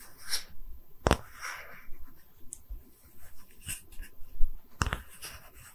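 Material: Wood.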